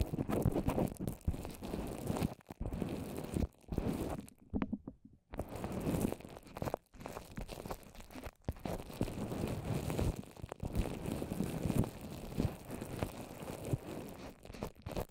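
A microphone covered in a fist-sized dome of wet white paper mache over plastic wrap is tapped and scratched with long orange nails and fingertips. The sound is a dense, muffled crunch of sticky taps and scratchy crinkles, heavy in the low end. It drops to a brief near-silence just before the middle, then the crunching resumes steadily to the end.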